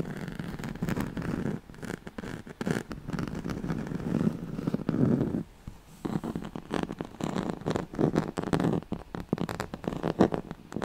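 Long nails scratch the ribbed surface of a yellow striped, woven oval pad, a straw-like fabric mat. The result is a dense, rough scratching texture in quick bursts, centered low and muffled with little brightness. It drops briefly to near silence around the middle before resuming just as intensely.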